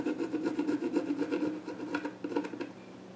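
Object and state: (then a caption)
Pencil scratching on a wooden stool. A pencil tip scratches drawing strokes across the flat top of a small reddish-brown wooden child's stool with visible grain. Quick, rhythmic, rasping strokes come at about four per second, with a dry scratchy texture centered around 300 Hz and a bright edge. The strokes grow softer and sparser toward the end.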